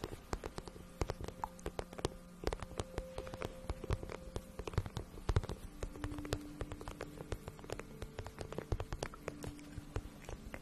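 Long nails rapidly tap and scratch the matte printed side of a hollow pink vinyl pouch held up in the air, which looks empty. The result is a dense, quiet stream of soft, dull clicks and scrapes over a low rumble, with faint steady hum-like tones in the background.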